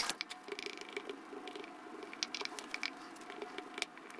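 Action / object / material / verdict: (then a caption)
scrape / foam slime in a plastic jar / foam slime / none. A light-blue plastic spatula presses ridges into and stirs pink and yellow foam slime that fills a small clear plastic jar. The sound is a quiet, steady stream of crisp, bright crackles and tiny pops, with almost no low end. Each snap cuts off almost at once.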